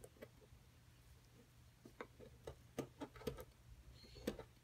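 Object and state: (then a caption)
Plaster block being chipped. A solid plaster excavation block is scraped and chipped at its edge with a wooden-handled metal chisel. Soft scraping is broken by short, dry, irregular clicks and taps that come more often toward the end. A faint steady low hum sits underneath throughout.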